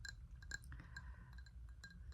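A small glazed ceramic bowl is tapped, giving a string of light, bright clinks that ring near 1.6 kHz and die away almost at once. A steady low rumble sits underneath the taps.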